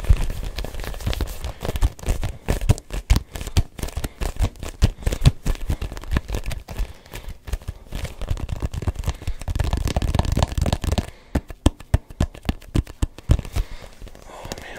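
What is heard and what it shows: A hand-sized, neon yellow-green hollow rubber ball with a textured, grooved surface is held in both hands and tapped with the fingertips. Rapid, sticky taps make dull, low thuds with soft crackling releases, running densely throughout with a brief quieter stretch near the end.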